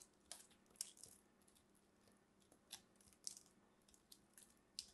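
A small blade carves and scrapes flakes off a solid, fist-sized green soap ball with purple specks, held in hands with long red nails. About ten quiet, crisp scraping crackles are heard, each short, bright and high, with almost no low end, separated by a soft hiss.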